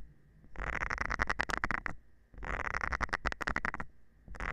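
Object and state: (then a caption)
Silicone scrubber pad. A thin metal rod is scratched across the nubs of a round green silicone scrubber pad held by hand. It makes quick, rattling, ticking scrapes in two long bursts, with a third starting at the end. A faint steady tone hums underneath in the quiet gaps.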